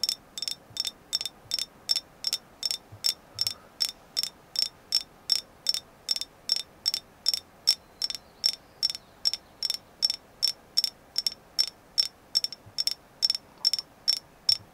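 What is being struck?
Carved agate figure.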